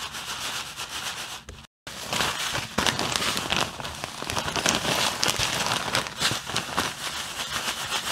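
Fingers squeeze and rub a clear plastic bag full of white granular artificial snow. The snow crunches and the plastic crinkles in a dense, bright, irregular crackle. A brief silent gap comes just before two seconds.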